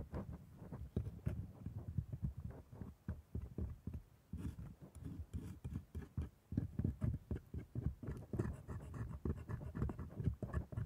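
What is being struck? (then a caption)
Plastic dental model of a lower jaw with rubbery gums. A gloved hand scrapes and picks along the plastic teeth of a solid, hand-sized lower-jaw dental model set in red rubbery gums, using a thin steel dental scaler. A quiet, steady run of short, dry scratches and light taps follows, each dying away almost at once. The sound sits mostly in a low register with little high-end sparkle.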